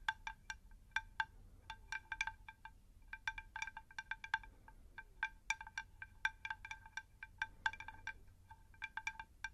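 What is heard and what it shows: A round, shallow, unglazed terracotta plant saucer is tapped on its underside with long nails in a rapid, irregular series of light taps. Each tap gives a bright, chime-like ring with a clear pitch around 1.5 kHz and high overtones, dying away almost at once, over a faint low background hum.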